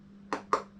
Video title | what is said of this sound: ปอกทุเรียนยังไงให้ได้พูสวยขนาดนี้ 😁 #ทุเรียนภูเขาไฟ #ทุเรียน #ขุนหาญ #ศรีสะเกษ | เคาะดูก่อนเนี่ย จะมีเสียงนี้นะนี่ นะแสดงว่าใช้ได้แล้ว